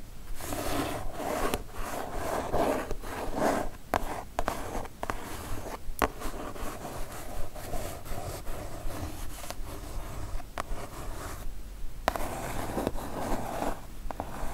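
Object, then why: Kraft cardboard mailer box. Long nail tips scratch back and forth across the surface of a kraft cardboard mailer box, making a dry, rasping rub with a midrange papery tone. The strokes come in quick, uneven bursts broken by brief silent gaps, with a few sharper clicks as the nails catch.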